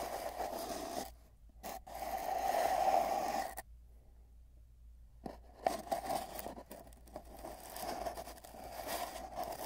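Fingertips scrape and rub the ends of a long, hollow, empty cardboard tube wrapped with bands of tape. A dry, papery scraping and rustling rings with a hollow resonance near 670 Hz, broken by short silences and one longer pause in the middle before the rubbing resumes.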